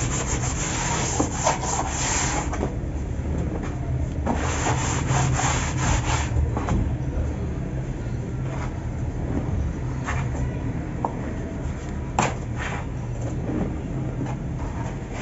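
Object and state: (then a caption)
Dry cement powder being crumbled. Fingertips poke holes in loose dry cement powder with small clumps in a large white plastic tub, then both hands grab, rub and crumble handfuls that pour back down. A steady, soft rubbing and crumbling hiss runs throughout, heaviest in the low range, with occasional brief sharp ticks and bursts of brighter sifting.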